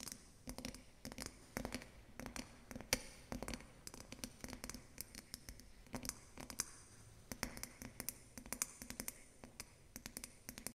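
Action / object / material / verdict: tap / water-filled glass snow globe / glass / none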